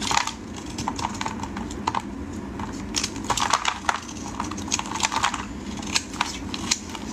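A solid yellow bar of soap, held in hands wearing pink finger cots, is carved with a metal blade into curling slices and crumbs. Short, crisp, bright scraping and cutting strokes repeat in quick bursts over a low, steady background rumble.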